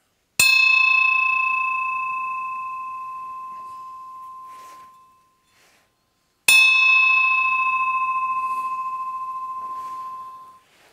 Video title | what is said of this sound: Casting fluted bronze bells | rings a lot louder, a lot clearer, a lot brighter than the first one. So the alloy made a huge difference in the way the bell sounds